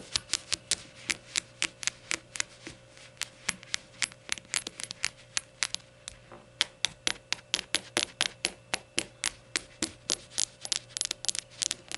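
Rainbow shot glasses are tapped and fidgeted with in a steady run of bright, sharp clinks with a slight knock, each dying away almost at once. A quiet low hum sits beneath the taps throughout.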